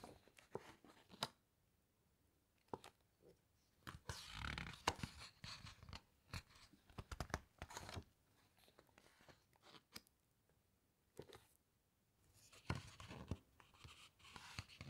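Fingertips squeeze the glossy pages of a large open hardcover book and turn a page, making soft crinkling crunches and sharp paper clicks. Longer bright rustling swishes come as the page is turned, with quiet gaps between bursts.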